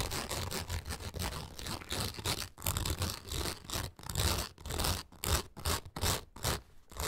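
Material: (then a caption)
Nylon mesh. Long acrylic nails scratch rapidly across the taut nylon mesh window set in the padded fabric frame of a parrot travel backpack. The result is a series of quick, raspy scraping strokes with a bright, hissy texture over a soft low rumble, separated by brief pauses.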